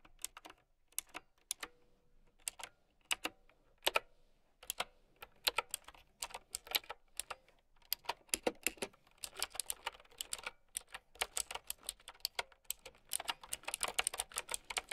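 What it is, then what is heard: Plastic mechanical keyboard. Long nails and fingertips type on a mint-green, typewriter-style mechanical keyboard with round plastic keycaps. Sharp, bright plastic clicks and clacks come in uneven bursts with short pauses. The typing grows faster and denser toward the end.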